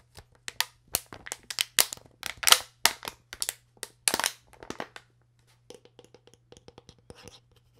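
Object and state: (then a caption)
Empty plastic water bottle. Fingers twist the white plastic cap on an empty clear PET plastic water bottle while long nails scratch along its neck. The result is a string of sharp, bright crinkling and scratching bursts over a faint steady low hum. The bursts are dense and louder for the first five seconds, then thin out into quieter, scattered ticks.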